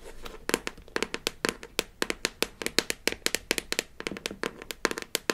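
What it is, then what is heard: Plastic toy case lid. A palm-sized blue hollow plastic toy case lid with an embossed smiley face, from a Melissa and Doug Super Smile Dentist Kit, is held in one hand and scratched and tapped with long acrylic nails. Rapid, sharp, bright clicks ring off almost instantly, with a faint scratchy rustle between the taps and little low end.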